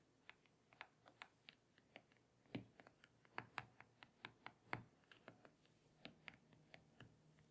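Long painted fingernails tap and scratch on the glossy glass touchscreen of a small tablet lying face up on a table. About 27 quiet, crisp clicks come in an irregular, rapid series, each dying away almost at once, with a faint brushing scratch between some of them.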